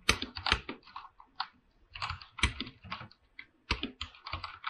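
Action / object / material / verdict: tap / aluminium mechanical keyboard with PBT plastic keycaps / PBT plastic / none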